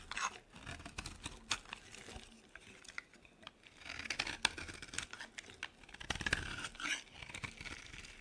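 A metal blade carves a solid, dry pink soap bar, shaving off brittle flakes. The clip is a series of crisp, bright scraping and crunching strokes, with dry crackling bursts that stop quickly and leave almost no ring.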